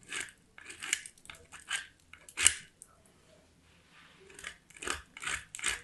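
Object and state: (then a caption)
Soap bar grated on a metal grater. A small solid white soap bar, held with a small metal box grater by fingers with black nails, is repeatedly scraped across the grater's teeth. About ten short, bright, crunchy grating strokes are heard with little low end and no ring, and a quieter pause falls in the middle.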